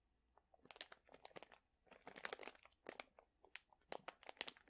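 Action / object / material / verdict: scrape / plastic pouch of dried chili peppers / plastic, dried chilies / none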